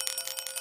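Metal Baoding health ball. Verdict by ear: Hollow.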